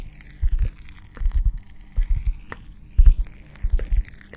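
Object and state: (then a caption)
Cork coaster. A round, flat, solid cork coaster about the size of a hand is held beside the microphone and scratched and tapped with long dark-painted nails. Low, dull bursts of scratching and tapping come in clustered groups separated by short pauses, with faint bright scraping above.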